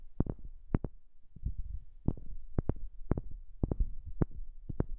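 A wooden object is tapped in an irregular series of short, dull knocks, often falling in quick pairs. Each tap is soft, low and thumping with a brief click on top, and it dies away almost instantly over a faint low rumble.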